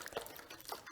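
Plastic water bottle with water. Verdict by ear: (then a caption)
Half full. A half-full plastic water bottle is shaken, and the water sloshes because there is space for it to move, unlike a full bottle, which makes almost no sound. The result is quiet, uneven, splashy swishing with bright, watery highs and a couple of slightly louder surges.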